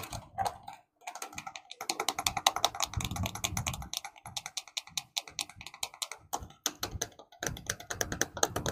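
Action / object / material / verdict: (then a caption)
tap / plastic toy car / plastic / none. A red and yellow hollow plastic toy car with black and yellow wheels is held close to the microphone and tapped with fingertips and nails. Rapid, dense clicking taps with short pauses give a bright, hollow plastic clatter, with some deeper knocks underneath.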